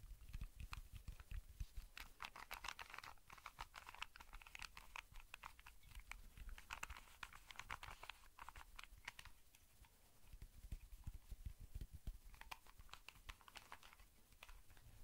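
A small, hand-sized, colorful plastic Rubik's cube is tapped with fingertips and nails close to the microphone. The result is a quiet, dense stream of rapid, sharp clicks with a bright edge, over a soft low rumble. The taps come in busier clusters with a brief lull about two-thirds of the way through.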